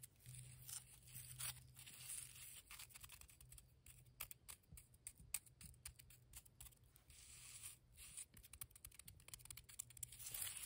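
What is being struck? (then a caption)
Cement mortar heap. Long nails and fingertips scratch and tap across a grey heap of damp cement mortar with a rough, lumpy surface. The result is a quiet, dense run of short, dry, bright scratches and crisp ticks over a steady low hum.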